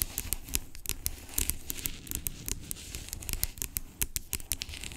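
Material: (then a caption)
Plastic. Long acrylic nails tap and scratch the label of a large, hollow, blue-labelled plastic pump bottle lying on its side. Rapid, sharp clicks and bright, crinkly scratching ride over a low, hollow body, with each tap dying away almost instantly.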